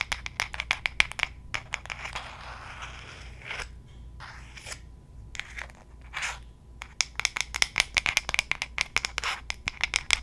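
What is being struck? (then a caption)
Wooden hairbrush back tapped and scratched with long nails. Long gold nail claws tap and scratch the flat, solid wooden back of a light wooden paddle hairbrush held facing the mic. Bursts of quick, bright, dry clicking taps open and close the clip, with a softer stretch of rasping scratches and scattered taps in the middle.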